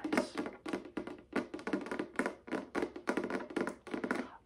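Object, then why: Folding wooden chessboard. Fingertips and nails tap on the inlaid surface of a folding wooden chessboard with light and dark wood squares, held upright and likely hollow. Quick bursts of dry, short wooden taps and clicks come in rapid clusters with brief pauses between them. Each tap has a hollow mid-low tone and bright clicky edges, with almost no ring.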